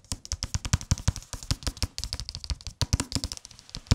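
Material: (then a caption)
Cardboard, paper. A thick hardcover book wrapped in a thin paper dust jacket is tapped rapidly with the fingertips. Each tap is a short, dry thump with a low body and a crisp papery click, with no ringing tail. The tapping runs in quick, uneven bursts for about four seconds.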